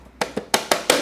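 The loose plastic battery cover on the down tube of a Bianchi T-Tronik EP8 e-bike is tapped five times by hand. Each tap gives a short, hollow plastic clack with a bright rattling edge that dies away quickly. The cover rattles because its bottom fixing nut is missing.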